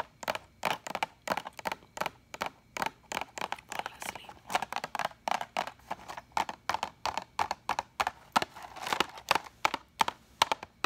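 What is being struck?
Cardboard box of pens.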